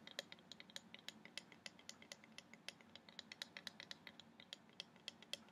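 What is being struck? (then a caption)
Carved wooden plaque. Polished long nails tap and scratch across a medium, flat carved wooden orca wall plaque with a reddish finish and both solid and open cutwork. The result is a quiet, steady stream of short, crisp, bright clicks, with faint scratching between the taps.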